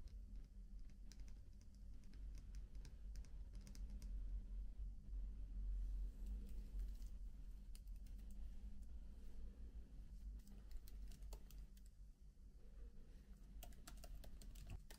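Fingertips move from the palm rest of a MacBook to fast typing on its plastic keys, set in an aluminium body. Quick, irregular bright clicks patter over a steady low hum that dominates the sound.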